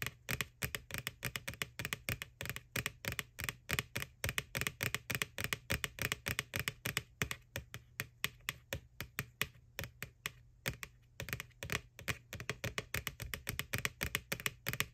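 Long nails tap rapidly on the side wall of a small, hollow, white plastic McDonald's Boo ghost Halloween candy bucket lying on its side. About 80 quick, dry, clicky taps with a bright edge near 2.5 kHz die away almost instantly, over a faint, steady low hum.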